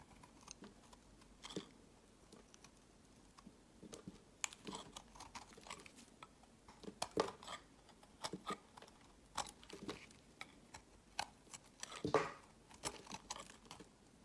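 A metal utility blade scrapes and chips crumbly chunks from a solid, hand-sized white-orange marbled bar of soap held in the hand. Irregular dry scrapes and crisp, bright snapping clicks come in uneven bursts over a quiet background, with a few louder cuts and short crumbling rasps.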